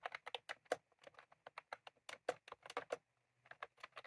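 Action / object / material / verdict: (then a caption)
tap / plastic keyboard with round keycaps / plastic / none. Fingertips of both hands type on a white/cream plastic retro computer keyboard with round typewriter-style keycaps, resting on a desk. About twenty-one short, crisp clicks arrive in an uneven rhythm, each with a mid-pitched body and a bright top, and each dies away almost instantly. There is a brief pause just after the three-second mark before the typing resumes.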